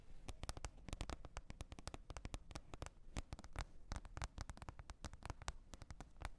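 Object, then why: Plastic container lid. Long red nails tap and scratch a green plastic lid, making a rapid, uneven run of dozens of short, dry clicks. Each tap has a dull, low-heavy knock with a brief bright edge that dies almost instantly, and faint scratchy noise fills the gaps at a quiet, steady level.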